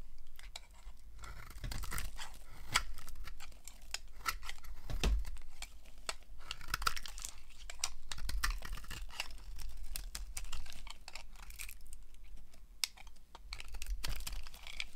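A utility knife blade shaves thin slices off a solid, hand-sized, translucent amber-yellow glycerin soap bar, dry and rectangular, held with long nails. Quick, crisp scraping and crunching cuts follow one another in a steady stream, with sharp crackly detail over a low background rumble.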